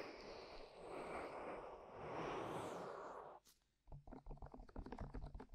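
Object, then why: Soft silicone ear cover on a microphone. Long manicured nails rapidly tap and scratch on hollow white soft silicone ear-shaped covers fixed on a binaural microphone. A dense, muffled scratching rustle fills the first three and a half seconds, then a brief near-silence gives way to a quick run of soft, irregular low taps.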